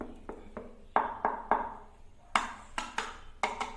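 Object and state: Hollow-sounding floor tiles.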